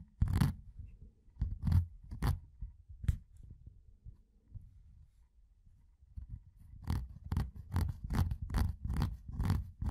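A fingertip scratches and rubs along the rolled rim of a metal tin can with a ridged lid. Short, bright scratching strokes come over a soft low rumble, fall quiet in the middle, then return as a quicker run of repeated rasps toward the end.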